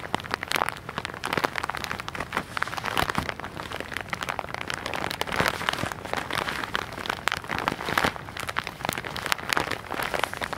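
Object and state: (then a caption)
Plastic-wrapped package. A tall, soft package in white and orange plastic wrap, likely holding cotton pads, is held in both hands and squeezed and scratched with the nails and fingertips close to the mic. Dense, bright plastic crinkling and crackling with many quick scratchy bursts runs continuously throughout.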